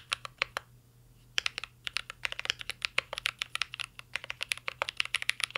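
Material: Plastic.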